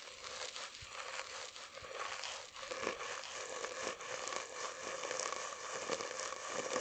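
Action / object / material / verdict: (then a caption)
scrape / cardboard tube / cardboard / none. An empty, hollow brown cardboard tube (a paper roll core) about 20 cm long is held close to the microphone and handled with fingertips, its surface tapped and rubbed. Soft crinkly scraping and dry crackles continue throughout, with light papery taps over a faint hollow tone around 500 Hz and brighter rustle on top.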